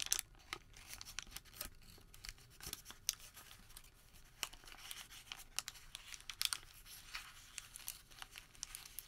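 A printed thermal paper receipt is crumpled, flattened and re-crumpled between the fingertips of both hands. It makes quiet, bright crinkling with dense sharp crackles and very little low end.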